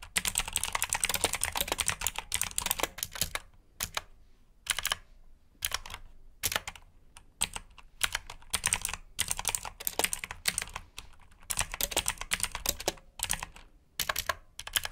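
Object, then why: Plastic mechanical keyboard. Fingertips type continuously on a black backlit plastic mechanical keyboard with blue switches, producing rapid, bright clicky keystrokes. Bursts of fast typing alternate with brief pauses, and each click stops almost instantly.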